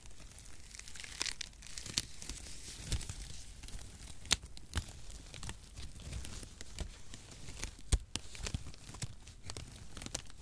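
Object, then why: Crinkle-cut cardboard packaging shreds. A handful of crinkle-cut cardboard packaging shreds is squeezed and crumpled with fingers and palms close to the microphone. The result is a steady, dense crackling and crinkling rustle with a papery, tearing quality. Sharp, bright snaps stand out from the bed of sound, most sharply around 4.3 and 8 seconds.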